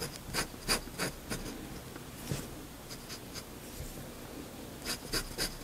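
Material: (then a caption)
Paper. A steel fountain pen nib draws short hatching strokes on a flat sheet of white drawing paper, scratching the surface repeatedly. Quick, bright scratchy strokes come in uneven bursts, with quieter rubbing between them.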